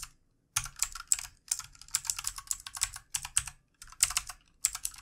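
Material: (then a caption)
Plastic. Fast fingertip typing with both hands on a full-size backlit plastic mechanical keyboard with plastic keycaps. Bright, crisp clacks come in dense bursts separated by short pauses, after a brief silence at the start. Each keystroke is dry and dies away almost instantly.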